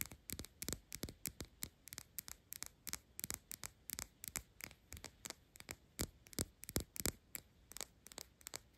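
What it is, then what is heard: Glass perfume bottle tapped with fingernails. Long pink acrylic nails rapidly tap and scratch a hand-held Byredo perfume bottle of clear glass with a paper label and a black cap. About 39 short, bright clicks come in an uneven, quick rhythm, with faint scratching between them over a low, quiet hum.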